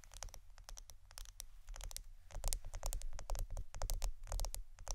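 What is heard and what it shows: A roll of plastic adhesive tape is tapped and scratched for ASMR, giving a quick, irregular stream of sharp, bright clicks and light scratchy patter. The taps are dry and short over a steady low rumble, and they grow slightly louder in the second half.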